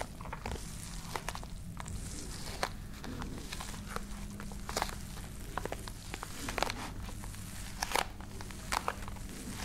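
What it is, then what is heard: Fabric-covered hard case, hollow, scratched with nails. Long nails scratch and tap over the textured woven surface of a small, hollow, dark grey fabric-covered hard-shell case. Soft, dry crackling scratches run throughout, broken by many short, bright clicks that stop almost instantly, over a steady low hum.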